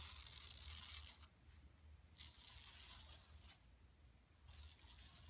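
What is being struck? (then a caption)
Woven plastic mesh bag. Long nails scratch and rub the lower part of a flat, empty yellow woven plastic mesh tote bag lying on carpet. Bright, dry rasping comes in three scratchy bursts separated by quieter pauses, over a faint low hum.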